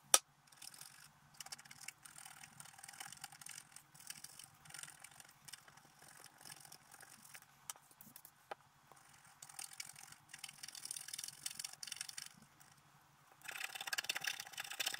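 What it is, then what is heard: Scratch-art paper being scratched. A wooden stylus scratches the black coating off the colored base of a flat scratch-art card lying on a table, with a hand resting on the sheet's edge. Quiet, bright, dry scraping strokes come in short bursts, opening with a sharp tick. The scratching grows denser and louder over the last couple of seconds.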